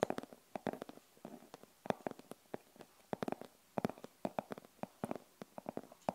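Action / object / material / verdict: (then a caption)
tap / fabric-covered hard glasses case / fabric / none. Long acrylic nails scratch and tap along the top and face of a closed, hollow, rigid glasses case with a printed denim-look fabric covering. About thirty quick, dry clicks and scrapes come in uneven bursts, each dying away almost instantly, with a hollow midrange tone around 600 Hz over near silence.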